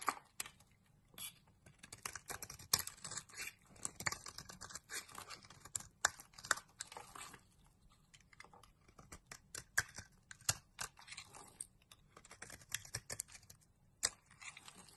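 A light blue solid bar of soap, held in the hand, is scraped and carved with a box-cutter blade that flakes off plates. Quiet, bright, crisp scratching comes in irregular bursts of many short, dry cuts with almost no ring.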